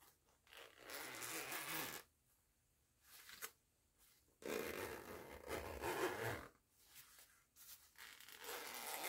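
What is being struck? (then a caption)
Nylon zipper with metal pull on a fabric pouch. Fingertips with long nails pinch and slide the metal pull of a purple nylon zipper on a small, soft printed fabric cosmetic pouch held up close. Bursts of raspy, bright zipping alternate with near-silent pauses, some runs long and smooth and others short and quick.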